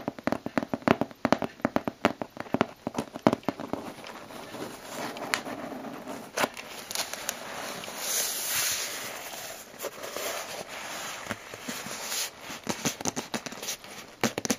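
Long blue-painted nails tap and scratch the taped top of a closed, hollow corrugated cardboard shipping box. Dozens of quick, dry, crackly taps come in bursts, with a stretch of continuous scratchy rustling in the middle. Each tap dies out almost at once.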